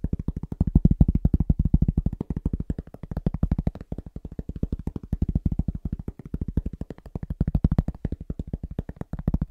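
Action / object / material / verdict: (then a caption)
tap / round cork board tapped with fingertips / cork / none. A round, flat, solid cork board about 25 cm across is held in both hands and moved around the microphone while being tapped with the fingertips. The result is a fast, steady stream of dull, low, muffled thuds that stop almost at once, rising and falling in loudness as the board moves.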